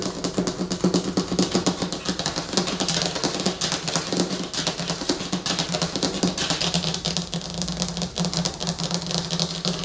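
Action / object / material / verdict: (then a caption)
scrape / glossy laminated paper poster on a wooden table / laminated paper / none. Long fingernails on both hands scratch and tap the surface of a large, flat, glossy laminated paper movie poster lying on a wooden table. The result is a dense, continuous stream of rapid, bright crackling scratches and crisp taps over a steady low hum.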